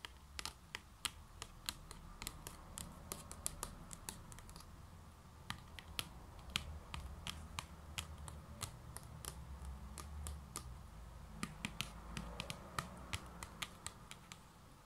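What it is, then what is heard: Paper desk calendar page tapped with nails. Long nails tap and scratch the white paper page of a standing spiral-bound desk calendar near its metal spiral binding. Quick, dry, bright clicks come in an irregular stream over a soft scratchy rustle and a steady low background rumble. Each tap dies away almost instantly.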